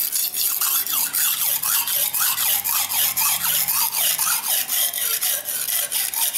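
A steel knife blade is stroked repeatedly under fingertip pressure across a dark grey solid whetstone resting on the floor. Each pass makes a bright, hissing, abrasive scrape, repeating steadily at about two strokes per second with short dips between them.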